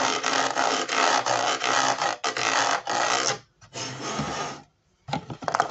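Fingertips and nails scratch across the ridges and edge of the white ridged sole of a hollow plastic Ravensburger 3D jigsaw-puzzle shoe in Converse style. The result is a dry, bright, raspy scratching in long, steady bursts, broken by short silences before a final run of sharper, choppier scrapes.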